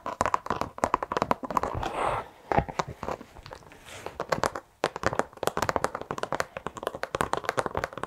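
A black textured carpet car floor mat is held with both hands in front of the mic and tapped and scratched with long acrylic nails. Rapid, dry, crisp taps centered around 1 kHz come in dense bursts, broken by softer scratching passes around 2 and 4 seconds.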